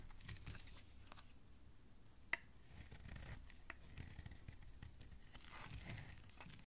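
A hand-sized solid green bar of soap is held in a hand while a flat metal blade shaves long, crumbly strips from its surface. The result is a steady run of quiet, dry scraping and crackling cuts, with one sharp bright click partway through.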